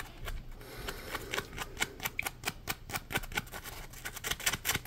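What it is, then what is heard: Foam scrubbing sponge being scratched. Fingertips and nails scratch the surface of a yellow, palm-sized, solid polymer foam Scrub Daddy sponge. The result is a quick, uneven run of short, dry, bright scratching strokes with little low end, each dying away almost instantly.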